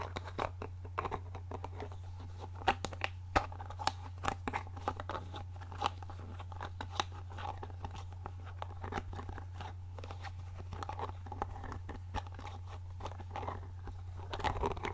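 Long manicured nails tap and handle a medium-sized, hollow clear glass bottle with a paper label and a dark cap, held in one hand, seemingly twisting the lid. Many short, crisp clicks and crunchy taps come in quick, irregular bursts over a steady low hum, each dying away almost at once.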